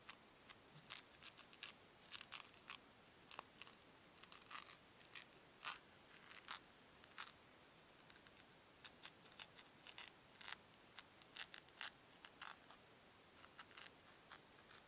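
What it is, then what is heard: Foam cubes. Two small, solid white foam cubes are squeezed and rubbed together between fingertips with long nails. The result is quiet, bright, crisp crunches and squeaks in dozens of short, separate bursts. There is almost no low end, only a faint hiss between the bursts.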